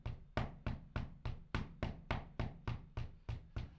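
An Adidas Supernova Prima running shoe's foam sole is knocked or stepped 13 times in a steady rhythm, each hit a dull, low thud that dies away quickly. The sole proves quite loud, an annoying flaw that sounds like walking in high heels.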